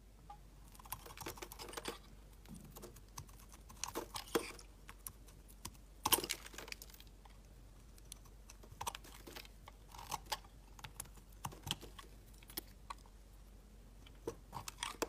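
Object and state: Glycerin soap bar being shaved.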